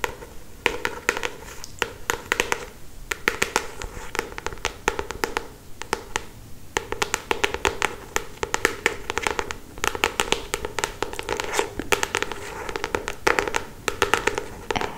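Long pointed acrylic nails tap rapidly on the glossy paper front cover of a solid paperback novel held upright in both hands. The taps are short, dry clicks with a bright edge and a hollow midrange body, coming in quick uneven bursts that fade almost instantly.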